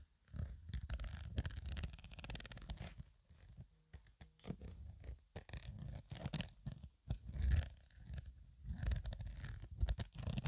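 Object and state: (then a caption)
Fabric toiletry bag. Long acrylic nails scratch and rub across a medium black woven nylon/polyester True Religion zippered cosmetic pouch, soft and hollow and apparently empty or lightly filled, with the hands near its metal zipper. The result is a quiet, continuous run of low, muffled scraping and rubbing with bright, crisp fabric scratches, broken by brief pauses.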